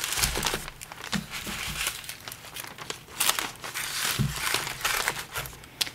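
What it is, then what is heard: Plastic poly mailer bag. Fingertips with painted nails press and rub along a black plastic poly shipping mailer that lies flat on a white desk, filled with a wrapped package. The result is steady bright crinkling and rustling, broken by a few soft low thumps as the bag is pressed.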